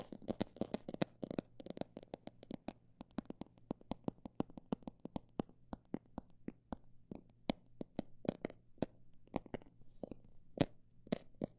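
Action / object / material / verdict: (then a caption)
tap / textured fabric or plastic cosmetic bag / fabric / none. A textured cosmetic bag is tapped with a quick, irregular run of short, dry taps that come thick and fast at first, then spread out and turn sparser. Each tap is a sharp, bright click that dies away almost instantly, over a faint, steady low hum, and the whole clip stays quiet.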